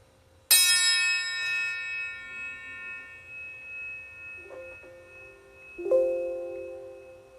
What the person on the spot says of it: the lower tones seem to go away faster than the higher tones in this case